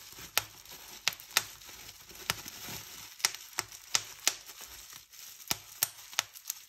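Fingertips and nails press and pop bubbles along a strip of clear plastic bubble wrap sheet. About a dozen sharp, bright pops stand out over a soft, steady crinkling rustle of the plastic, each one dying away almost instantly.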